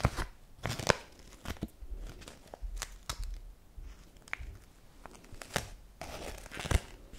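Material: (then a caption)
Paper. A single euro-style paper banknote held in the fingers is crumpled, rubbed and scratched with long nails. Quiet, dry crinkling and scratching comes in short, uneven bursts, with sharp bright crackles over a soft low rustle and no ring after each sound.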